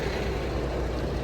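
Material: Nothing is struck.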